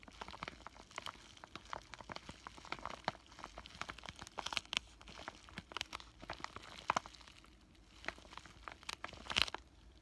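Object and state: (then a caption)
Plastic bubble-wrap pouch crinkled. Fingertips squeeze and crinkle a flat pink plastic bubble-wrap zip pouch with a paper insert inside, while short nails scratch across its surface. Quiet, bright crinkling and crackling goes on for about ten seconds, broken by many sharp little snaps and clicks. It has almost no low end and no ringing after each sound.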